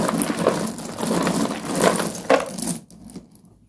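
A hand digs into a box of small, solid broken slate pencil fragments and crushes the pile, producing a continuous dry, gritty crunching. Sharper crackling bursts stand out along the way, especially near the end, before the sound drops away to faint rustling.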